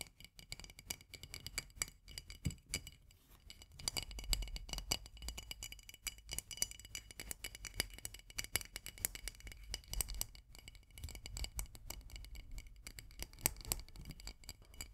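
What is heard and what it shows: Long nails tap rapidly and continuously on a full glass jar of marmalade, striking both the glass and its label. The dense stream of short, bright clicks and clinks dies away almost instantly, over a soft low thud.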